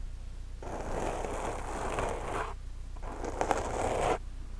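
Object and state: Foam microphone windscreen scratched.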